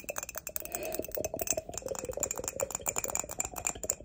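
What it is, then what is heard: Ceramic mug tapped and scratched with nails. Long pointed acrylic nails rapidly tap and scratch the base and body of an empty, hollow, glossy grey ceramic mug, held upside down and then sideways. The result is a dense stream of bright, clicky taps with very short ringing, mixed with light scratchy rasps.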